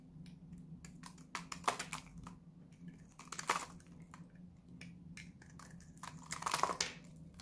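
A utility knife blade scrapes and cuts flakes off a small, solid, dried-out blue Lux soap bar held in one hand, with the cut shavings piling up below. Quick dry, bright scraping crackles come in a steady series over a faint low hum. Louder, crunchier cutting bursts stand out near the start, middle and end.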